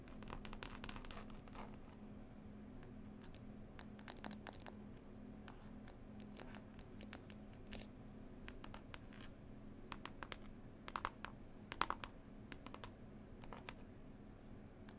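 Long pointed nails tap and scratch the green cloth cover of a closed, solid hardback book. Soft, dry scratching is broken by quick, bright clicks over a steady low hum, with a few sharper taps standing out near the end.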